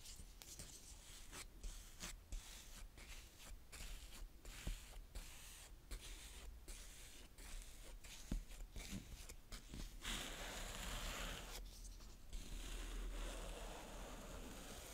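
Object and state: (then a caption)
Kinetic sand scraped with a plastic spade. A small blue plastic spade, pressed down by a fingertip, is scraped slowly across a flat round patch of brown kinetic sand on a polka-dot tray. Soft, gritty scraping strokes repeat at an uneven pace, each with a faint crunch and a brief bright rasp over a low background rumble. Toward the end the scraping turns into a steadier, continuous hiss.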